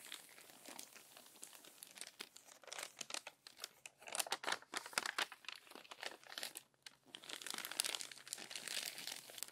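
Hands with long nails flatten and rub the crinkled pages of a crumpled paper magazine lying open, then turn a page. Dense, bright crinkling and crunching rustles with almost no low end build from soft rubbing into louder, sharper bursts. After a brief lull they settle into steady, fuller crinkling.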